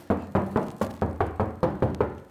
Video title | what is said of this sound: Found My Dream Muscle Car Abandoned in a Barn for FORTY YEARS! And I BOUGHT IT CHEAP! | Sounds like metal basically everywhere